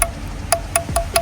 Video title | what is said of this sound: joran dronefishing daiwa phantome surf 425 #fishingvideo #fishingtackle #daiwa @vendyfishing | kalau disentril pasti nyaring suaranya. Bukan tek tek tapi ting ya